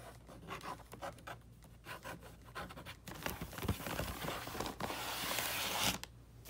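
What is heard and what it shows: A flat box wrapped in red "Holly Jolly" wrapping paper is scratched and rubbed with the short nails and fingertips of both hands. Quick, separate dry scratches on the paper come first, then after about three seconds they merge into a steady, bright papery rubbing and crinkling that swells toward the end and cuts off near six seconds.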